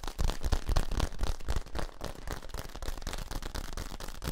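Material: Plastic.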